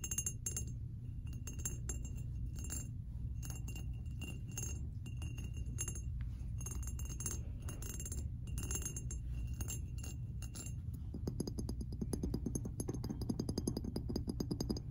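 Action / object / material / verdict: scrape / ceramic canister with raised-dot surface and lid / ceramic / none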